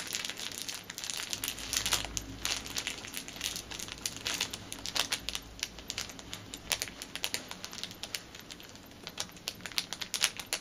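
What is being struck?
Thin clear plastic packet.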